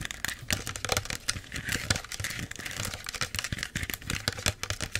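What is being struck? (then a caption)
Small plastic soda bottle. A small clear plastic Pepsi bottle with its label and cap on is tapped and scratched quickly with long nails. The result is a dense run of sharp clicky taps mixed with bright crinkly scratching, each hit dying away almost at once.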